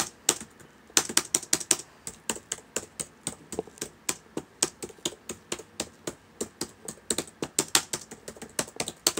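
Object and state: Plastic laptop keyboard.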